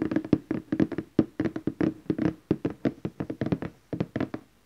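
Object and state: Glossy cardboard gift box.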